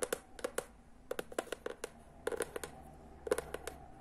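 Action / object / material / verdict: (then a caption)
tap / hardcover book cover / cardboard / none. Long nails tap and scratch rapidly all over the cover of a teal hardcover book. About sixteen sharp, dry clicks with a mid-range knock fall in quick bursts, each dying away almost instantly, with faint scratching between them.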